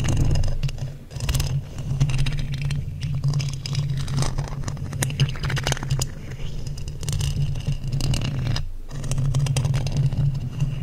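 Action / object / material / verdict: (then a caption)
scrape / metal mesh microphone grille / metal / none. A hollow black metal mesh microphone grille is scratched with two wooden skewer sticks. The result is a continuous low, rough scraping rumble centered near 145 Hz, with faint bright crackle above it. The sound thins out briefly around one second and again just before nine seconds.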